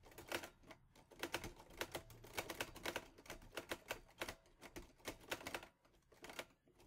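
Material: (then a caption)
Metal. Fingertips type fast on the keys of a teal metal Olivetti Lettera 22 portable typewriter. A rapid run of sharp, bright clacks sounds over a light mechanical rattle, each strike short and dry with very little ring, with brief pauses between bursts.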